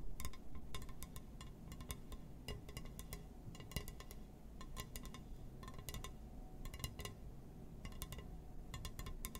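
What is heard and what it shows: Fingertips tap and scratch across a glass surface in quick, irregular clusters, making bright, clinking glassy clicks that die away almost at once. A steady low rumble sits underneath the whole time.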